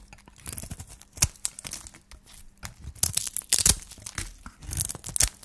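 A solid white dry soap bar, partly wrapped in a pink shiny wrapper, is cut and shaved with a hand-held flat metal blade. The result is a run of bright, crisp scraping and crunching strokes with short tearing, crinkling bursts and almost no ring after each cut.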